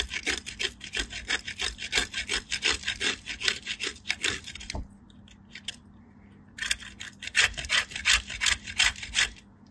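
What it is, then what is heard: Bar soap grated on a metal grater. A small solid white soap cube is rubbed with fingertips with long light-blue nails against a small stainless steel box grater held in the other hand, while soap shavings pile up on a green mat. About 38 quick, bright, rasping scrapes come in a steady rhythm, stop for a short quiet pause midway, then resume.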